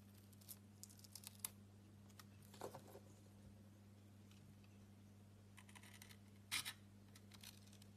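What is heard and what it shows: A utility knife blade slices pieces off a solid rectangular soap bar, held in the hand, that has a blue glitter coating and an orange interior. Quiet, scattered crisp scraping and crackling cuts with a bright edge are heard, with louder crunchy bursts near the middle and toward the end, all over a steady low hum.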